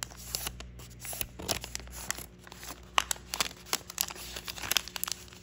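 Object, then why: Thin origami paper sheet on a wooden table. A thin, patterned sheet of origami paper is folded into a crane on a wooden table, with fingertips pressing and creasing the edges against the wood and rubbing the paper. The result is a quiet run of bright, dry crinkles and sharp crease snaps over a faint low hum.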